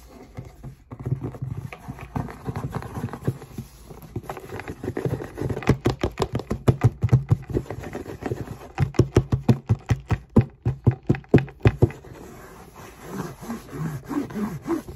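Long nails scratch and tap around the printed logo on the lid of a closed, hollow cardboard Jordan shoebox. Soft scratching opens the clip, then a run of quick, dull, hollow taps with a low, boomy body builds in the middle before easing back to quieter scratching.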